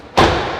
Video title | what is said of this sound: Toyota Urban Cruiser Hyryder Strong Hybrid 2022. Most Fuel efficient SUV in India. | you can hear the touch sound of the door it's enough strong